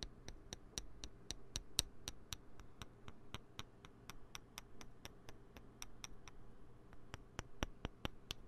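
Small, solid green plastic poker chips are clicked together and handled with the fingertips close to the mic. A quick, steady run of sharp, bright clicks dies away almost instantly, over a faint low hum.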